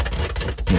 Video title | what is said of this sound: Magnepan MGI Glue Removal Pt1 | you can hear how crispy and crunchy this is